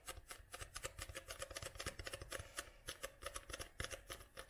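Long nails tap and scratch the glossy card front cover of a paperback book held upright close by. A quick, uneven run of short, crisp clicks with bright, papery scratching between them, each tap dying away almost at once over a faint low rumble.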